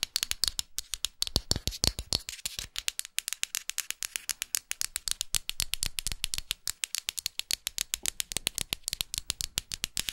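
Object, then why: Wooden art block plaque. Long fingernails rapidly tap and scratch the rough textured edge and printed front of a solid wooden art block plaque. The result is a dense stream of dry, bright clicks with almost no ring, mixed with a soft scratchy hiss between the taps.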